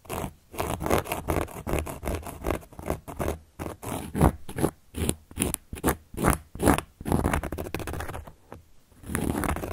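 A carving tool, held upright between long nails, traces and scratches across the surface of a large, round, solid cork board. The result is an uneven run of short, dry scraping strokes with a low rumble underneath and a brief bright edge. The strokes thin out near the end before a final longer scrape.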